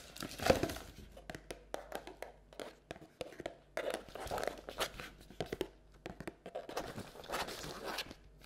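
A hollow, empty round paperboard carton Halloween treat bucket with a pumpkin print is held up and tilted in both hands while long red and black nails tap and scratch its walls and rim. The result is a quick run of dry, papery taps mixed with crinkly scratching and a hollow midrange body, each sharp tick fading almost at once.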